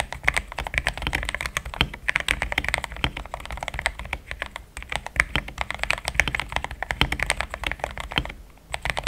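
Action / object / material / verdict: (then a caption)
tap / mechanical keyboard with plastic keycaps / plastic / none. Fingertips type in steady taps on a pink-framed compact mechanical keyboard with thick cream XDA plastic keycaps, a polycarbonate plate, linear switches and a hollow case. A dense stream of short, dry clacks centers around 2 kHz with a soft low thump under each press. The typing pauses briefly near the end before resuming.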